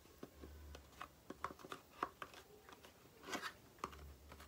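Long painted nails tap and scratch a small, empty-looking rectangular cardboard box of aloe face cream held in the hands, its hollow, paper-thin walls giving quiet, dry clicks. Short, sharp taps with a hollow ring around 1.1 kHz are scattered among soft, bright scratching rustles, each dying away almost instantly over a faint low hum.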